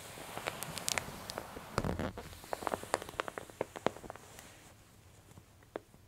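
An open glossy paper J. Jill women's clothing catalog is pressed flat by a palm across the spread, then fingertips and long nails crinkle its bottom edge. A soft, low rustling press gives way to a run of sharp, bright paper crackles and ticks that thin out and grow quieter toward the end.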